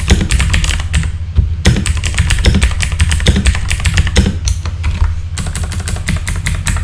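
Fingertips type quickly on a full-size backlit mechanical keyboard with plastic keycaps, giving a dense run of sharp clacks over a heavy low thump. The keystrokes blur together almost continuously, with only brief pauses, and each one dies out quickly.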